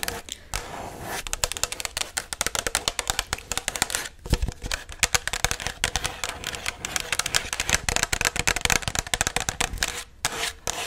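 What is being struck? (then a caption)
Paper cup. Long matte black nails tap and scratch the outer wall of a tall, hollow white Chipotle paper cup held in one hand. Rapid, dry, bright clicks come in quick, irregular bursts with almost no ring, mixed with brief scratchy rustling. There is a short pause just before the end.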